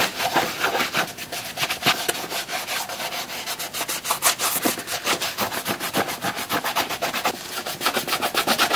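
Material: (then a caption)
Leather. A black leather Red Wing 2951 work boot is held in the hand while its upper is wiped and rubbed with a white cloth wrapped on gloved fingers. Quick, steady back-and-forth strokes make dry, bright swishing and scuffing with almost no low end, each stroke cutting off sharply.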